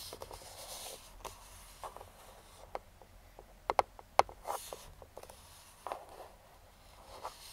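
A hollow, printed cardboard speedlite box lying flat is tapped and scratched with pointed metal claw finger rings. Light, dry taps and a few sharper clicks stand out over soft, brushing scratches, with a hollow midrange tone around 800 Hz and almost no ring. About eight distinct hits are spread unevenly across the quiet, close-up clip.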